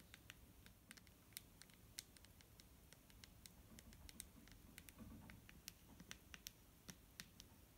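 Fingernails tap on a clear plastic micellar water bottle filled with liquid. Quick, irregular, sharp and bright clicks fade almost instantly over a faint low rumble.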